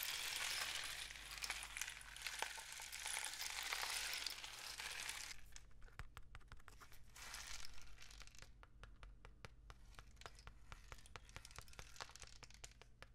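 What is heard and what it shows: A long, hollow, painted cardboard rain stick filled with loose grains is held horizontally and then tilted, so the filling trickles inside. A dense, bright rushing hiss fills the first five seconds and then thins into scattered sharp ticks of individual grains, with a brief renewed rush around the eight-second mark. A faint steady low hum sits underneath throughout.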